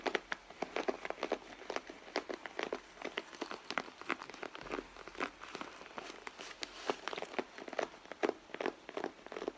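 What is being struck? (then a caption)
Leather handbag. Long blue acrylic nails scratch and tap the front panel of a medium, soft, hollow red leather handbag lying flat on a mat. A rapid, uneven stream of short, dry clicks and scratchy crinkles is heard, each dying away almost instantly, with a mid-range body and bright edges.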